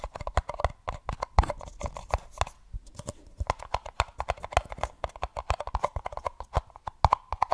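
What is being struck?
Empty paper cup.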